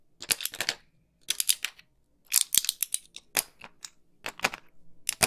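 A small, flat blister pack of white pills, with plastic bubbles on a foil backing, is held close to a microphone and handled and tapped with long pink nails. The result is bursts of sharp, bright, crinkly clicks and taps in quick clusters, separated by brief silences, with almost no low end and very little ring.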